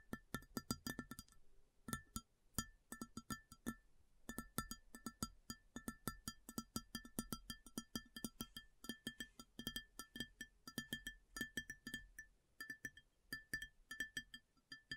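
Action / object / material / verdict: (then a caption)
tap / large round ceramic plate / ceramic / none. Long fingernails tap rapidly on a large, round, empty white ceramic plate. The sharp clicks come in quick rhythmic bursts with brief pauses, each one giving a short, bright ringing tone that fades almost at once.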